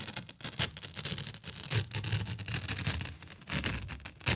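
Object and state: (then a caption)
Sheet of paper. A single thin sheet of white letter/A4 printer paper is held in both hands by the fingertips and flexed, bent and shaken in front of a microphone. The result is a continuous rustling and crinkling with bright, crackly bursts over a low, fluttering rumble from the sheet moving air. Loudness rises and falls throughout, with sharper swells near 1.8 s, 3.5 s and the end.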